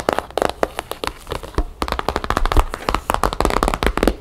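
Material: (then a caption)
Cardboard. A rectangular cardboard box wrapped in map-patterned paper, likely hollow, sits on a wooden table and is tapped rapidly on its top and sides with long painted fingernails and fingertips. It gives a quick run of short, dry taps and clicks, each with a soft low thump from the box and almost no ring.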